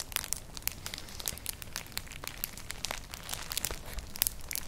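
Long nails scratch across a flat, hollow, colourful woven straw clutch bag. They make a dense run of quick, dry, crinkly scratches with bright high-end crackle over a quiet low rumble. The strokes are too close together to count.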